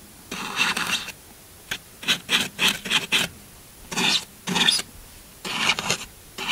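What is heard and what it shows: The tip of a metal knife blade scratches and carves grooves into the top of a large solid green floral foam block while the other hand steadies it. The result is a series of short, bright, dry rasping scrapes in bursts, with quiet gaps between strokes.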